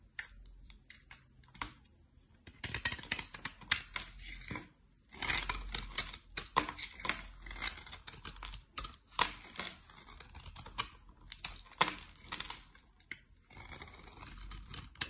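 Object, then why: Bar of soap scraped with a blade. A utility-knife blade scrapes across the face of a solid dark olive bar of soap. Bursts of dry, crackly scraping come in short strokes and longer stretches, bright and crisp with little low end, separated by brief pauses.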